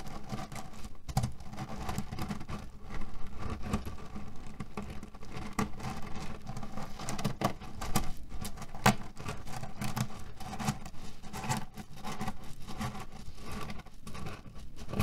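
Palms and fingertips press, rub and scratch the cotton-canvas cover of a cherry pit pillow, shifting the loose pits inside. A steady, dense, low-heavy crunching patter of rattling pits and rustling fabric continues throughout, with occasional louder, sharper clicks.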